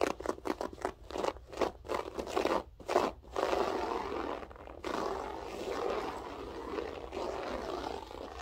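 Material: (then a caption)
Carpet fibre. Long French-tip nails scratch a grey loop-pile berber carpet with both hands. Quick, separate bursts of rough, crunchy scraping come first, then merge into a steady, dense scratching texture that stays mostly in the midrange, with possible faint speech in the background.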